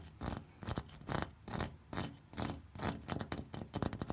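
An orange ribbed terracotta corrugated clay roof tile is tapped and scratched with the fingertips. Irregular bursts of dull, low knocks blend with bright, dry scraping across the ridges. Each sound stops short with almost no ring.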